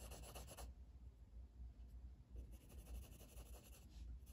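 A blue wooden colored pencil, held in the fingers, shades back and forth across a flat paper coloring book page resting on a table. Soft, dry scratching strokes come in bright bursts at the start and again from about 2.4 seconds on, with a quieter stretch in between, all over a steady low rumble.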